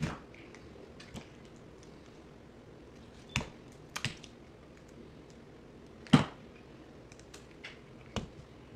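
A box cutter blade slices and scrapes pieces off a solid green bar of soap held in the hand, with the clip sped up. Sharp, dry cuts and crisp scrapes sound in scattered bursts over a quiet background, each one snapping off quickly with almost no ring.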